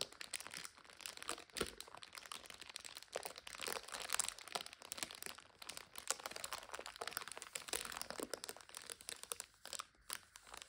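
Long nails scratch and tap a full 5-packet instant noodle multipack in a plastic overwrap, making it crinkle. The clip is a steady stream of quiet, bright, dry crackles and crunches with dense, short ticks throughout and almost no low end.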